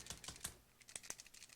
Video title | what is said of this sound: Stampscapes 101: Video 709 MOONLIGHT DANCING (full video) | i can really hear that little thing rattling around in there